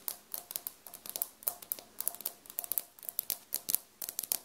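Both hands tap and scratch large beige glazed ceramic floor tiles with grout lines on a solid floor, using long dark-painted nails, beside a small recorder resting on the floor that is not touched. About 25 quick, sharp clicks and scrapes follow one another in an uneven rhythm, each bright and high with almost no low end. Every click dies away almost instantly.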